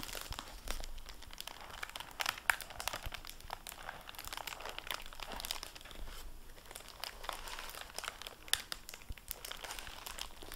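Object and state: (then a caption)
Hardback book with plastic-covered dust jacket. A dark blue cloth hardcover library book in a plastic-covered dust jacket is opened, and fingertips handle the jacket flap. Dense, bright crinkling of the plastic covering mixes with soft page-handling rustles and scattered sharper crackles throughout.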